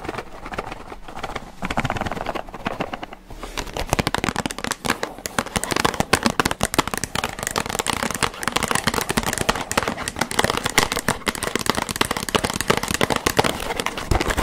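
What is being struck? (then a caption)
Small cardboard box. A small, hollow Johnson's cardboard cotton bud box is held close and tapped and scratched with long painted nails. The result is a fast, dense stream of dry, crackling clicks and scratchy taps with very short decay, steady throughout after a slightly quieter start.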